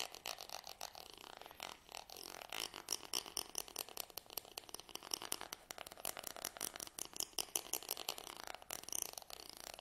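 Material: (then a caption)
Wood. A black stick-like tool is scraped down the teeth of a small curved wooden comb held in one hand. The result is a rapid run of short, dry, bright clicks and rasps, with strokes repeating throughout and almost no low end.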